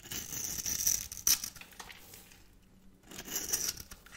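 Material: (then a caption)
Soap. A metal blade scrapes a solid pale pink bar of dry soap held in the hand, shaving off crunchy cubes and flakes. Bright, crackly scraping comes in bursts, with a sharper crunch near the middle, a quieter stretch, and then more scraping at the end.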